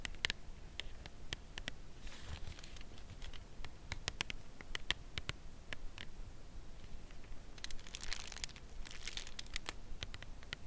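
Long nails tap and scratch the printed face of a full Lindt Creation cardboard chocolate bar box held upright in both hands. Quick, dry, bright clicks come at an irregular, unhurried pace, with longer crinkly scratching passes near the start and toward the end. A soft low rumble sits steadily underneath.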